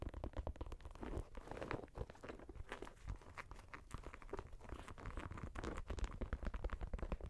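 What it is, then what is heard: Leather and mesh sneaker. A leather and mesh Nike Air Max 90 sneaker is held in the hand while fingernails tap and scratch its side panels and sole. The result is a dense run of quiet, dry, crunchy clicks and scrapes with a low, muffled body and almost no ring.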